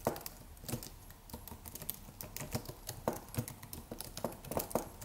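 Fingertips of both hands type rapidly on a slim white Apple-style wireless keyboard with an aluminium body and white plastic keys. Quick, soft, irregular clicks and taps pile up in a steady patter. Each keystroke has a short dull thud under a bright tick that dies away almost at once.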